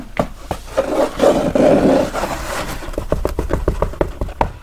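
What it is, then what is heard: Felt cowboy hat. Fingernails tap and scratch the hollow crown of a held brown felt cowboy hat. A few soft taps lead into a rough, rustling scratch. Then comes a quick, uneven run of dull, hollow taps that die away almost instantly.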